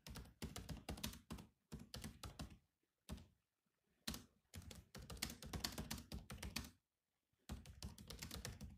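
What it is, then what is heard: Plastic laptop keyboard. Fingertips type on the black plastic keys of a silver laptop, producing quick bursts of short, clicky key taps with a dull thump and a bright edge. The typing comes in runs separated by brief pauses, and each tap dies away almost instantly.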